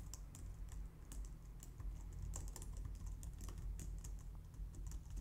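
A white low-profile plastic computer keyboard, recorded close up, is typed on with long nails. Quick, bright clicks with short decay run steadily over a deep low hum. No separate loud strikes stand out.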